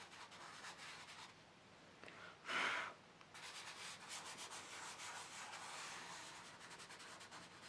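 Fingertips rub and smudge chalk on a large black paper sketchbook page lying flat, blending it in circular motions. A soft, dry, bright rubbing hiss runs throughout, dips briefly, then swells into a louder scrape just before resuming its steady whisper.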